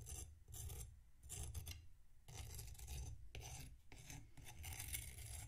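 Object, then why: Packed sand block scraped by a metal knife. A metal knife scrapes and slices through a solid block of packed sand resting on a plate. Repeated gritty, rasping strokes give a crunchy, bright hiss over a low, thudding rumble, with short pauses between strokes.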